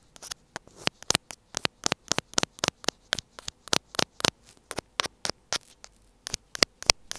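The tip of a thin black pointed tool scratches a small, hollow white plastic earphone inline mic housing on a cable. Rapid, dry, bright scratching bursts crackle in quick irregular bunches, each very short with almost no ring, over a faint steady hum.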